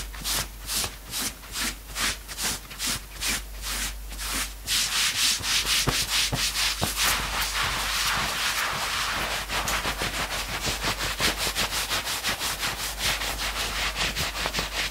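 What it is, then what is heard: Knit fabric sweatshirt being scratched. Hands rub and scratch the front fabric and the sleeve of a worn knit sweatshirt, making rapid, bright, hissy scratching strokes. Distinct rhythmic pulses in the first few seconds give way to louder, denser, almost continuous scratching with a fast, uneven beat.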